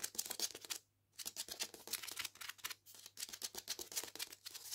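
A hardback copy of "Jews Don't Count" with a paper dust jacket is held upright while its cover and spine are scratched with long painted nails. The scratching is a fast, dry, bright rasp of many short strokes, with a near-silent pause just before the one-second mark and a shorter lull around the three-second mark.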